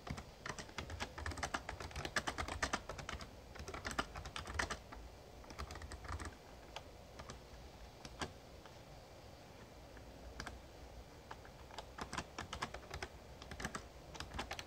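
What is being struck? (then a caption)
Plastic membrane keyboard. Fingertips type on the keys of a full-size backlit plastic Razer Ornata Chroma mecha-membrane gaming keyboard. Soft, muted clicks with bright tips come in quick bursts, thin out to scattered keystrokes in the middle, then pick up again. A steady low hum sits underneath throughout.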